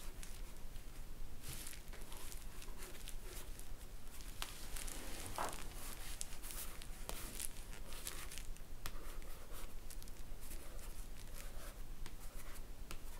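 Fingernails scratch and tick across a glossy paperback cover: dry, papery rasps with short, dead taps.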